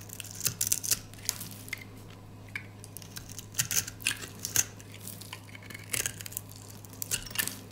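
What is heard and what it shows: A gold utility knife blade scrapes crunchy layers off the surface of a solid, oval, dry pink soap bar held in the hand. The result is bursts of bright, crisp crunching and scraping in irregular clusters with short pauses between them. A steady low hum runs underneath the whole time.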